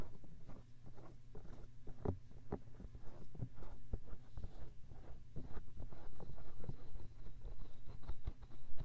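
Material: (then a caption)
Silicone. Fingertips quickly scratch and rub the soft silicone ear set inside the white plastic disc housing of a 3Dio binaural microphone. The result is a dense, irregular patter of close, muffled scratching and rubbing with a deep, boomy low end and short, dry taps.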